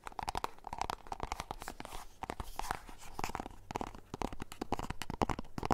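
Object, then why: Small cardboard box. Fingernails tap and scratch on a small, hollow, white-and-orange printed cardboard box. Quick, uneven taps fall at about two per second, each short and dry with a hollow knock near 1 kHz. Soft scratching and crinkling fills the gaps between them.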